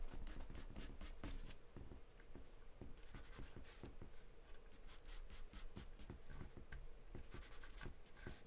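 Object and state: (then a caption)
Pencil scribbling on paper. A graphite or charcoal pencil, held in the hand, scribbles and shades across a large white paper sheet taped flat to a dark surface. Quick, dry scratching strokes come in rapid bursts with bright papery hiss over a low, soft rumble. The result is a quiet, steady drawing texture.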